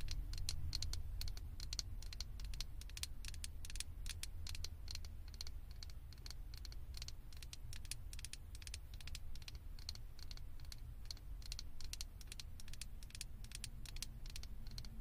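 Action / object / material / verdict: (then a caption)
tap / small plastic figure head on a microphone / plastic / none. Long acrylic nails tap and scratch the head and ears of a small hollow blue plastic Stitch figure sitting on top of a microphone. The result is a steady, rapid stream of sharp, bright clicks and scratchy rustles over a constant low rumble, with each tap dying away almost instantly.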